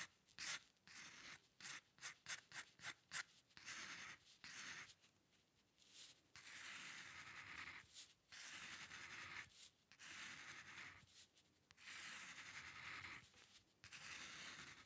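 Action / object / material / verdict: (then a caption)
scrape / paper sheet under a metal dip-pen nib / paper / none. The metal nib of a dip pen scratches across a flat sheet of white drawing paper as it draws hair lines. A run of quick, short strokes gives way to longer, sustained scratches with brief pauses between them. The sound is a dry, bright, hissing scrape centred around 2 kHz, with almost no low end.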